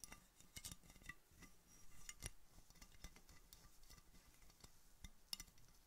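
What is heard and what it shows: Painted fingernails tap on an empty-looking, hollow clear glass Coca-Cola bottle with a red label, held in a knit-mittened hand. A quiet, irregular series of sharp, bright clicks and clinks stops almost instantly, with no lingering ring, over a low, soft rumble.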